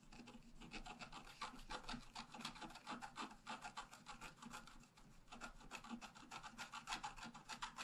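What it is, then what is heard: Scratch-art card being scratched. A wooden stylus scratches the upper flower details into a flat, black-coated scratch-art paper card. It makes quick, dry, raspy strokes, about three or four per second, in an uneven rhythm. Each short scrape fades almost at once, leaving a bright, papery hiss.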